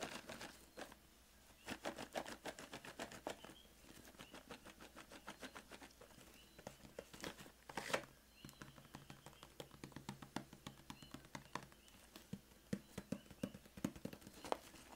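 A Crayola 120-crayon cardboard box, hollow and full of wax crayons, is held close in both hands while fingertips tap and scratch its printed cardboard surface and the box is handled and shaken. Dense, quiet, dry taps and scratchy crinkles come in uneven bursts, with a few louder knocks standing out. A steady low hum sits underneath.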